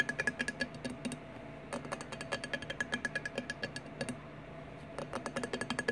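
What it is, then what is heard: Empty glass bottle. Fingertips and nails tap rapidly on the flat glass side of a large, clear, empty 1800 Peach Margarita bottle lying on its side on a wooden table. The taps come in quick bursts of about 39 short, bright clicks, separated by two brief pauses. Each tap carries a faint glassy ping near 1.7 kHz that dies away almost at once.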